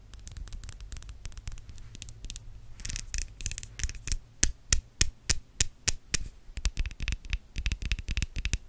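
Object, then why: Metal mesh microphone grille. Long yellow nails on both hands scratch and tap across the hollow metal mesh grille of a white studio microphone. The result is rapid, uneven bursts of crisp, bright scratching clicks over a steady low hum.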